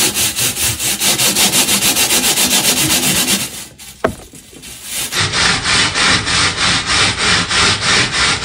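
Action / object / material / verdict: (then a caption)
scrape / perforated metal sheet scrubbed with a plastic bristle brush / metal / none. A purple plastic bristle brush scrubs a flat perforated metal panel in fast, steady back-and-forth strokes, making a bright, hissy scratching. The scrubbing stops for about a second with one sharp click in the quiet gap, then the same rhythmic scratching starts again.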